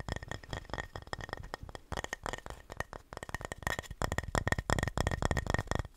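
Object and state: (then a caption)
Painted wooden plaque. Fingernails tap and scratch across the face of a flat, solid, painted wooden house-shaped Christmas sign. Rapid, irregular, dry clicks and scratchy rustles run throughout over a faint steady tone near 1.8 kHz. Each tap dies away almost at once, and the tapping grows louder and denser in the second half.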